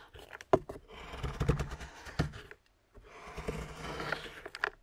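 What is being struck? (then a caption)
Milk chocolate bar scraped with a metal knife on a wooden board. A metal knife blade scrapes and carves a solid milk chocolate bar lying on a wooden cutting board, shaving it into curls that pile up. Rough, crunchy scraping strokes come with sharp clicks where the blade may catch the board, followed by a brief silence before the scraping resumes.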